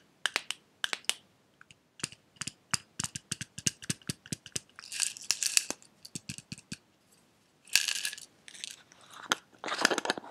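A small clear glass jar with a silver metal lid, partly filled with red pieces, is held sideways and tapped with fingernails near the lid and on the glass body. Many sharp, bright clicks and taps come in quick bursts, with some denser rattling clusters and brief pauses between them.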